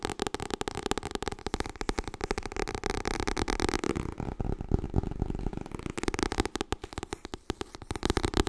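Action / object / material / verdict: tap / paperback book / paper / none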